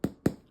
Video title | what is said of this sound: Step by step ciabatta buns | we like to have a nice Brown bottom that if you tap on it sounds like it's Hollow